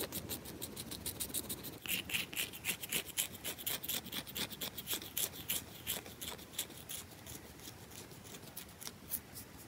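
Long acrylic nails quickly scratch and tap the top surface of a round, solid bar of soap held in one hand. A rapid, uneven run of bright, crisp scratches and clicky taps sits mostly in the high range with little low end, each sound dying almost instantly. The strokes grow louder after the first couple of seconds, then ease softer toward the end.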